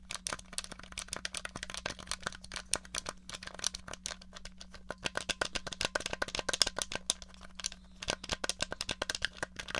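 Long nails tap rapidly on the buttons and case of a small, hollow grey plastic NES controller held flat. The result is a dense stream of sharp, bright, dry clicks that die away instantly, over a faint steady low hum.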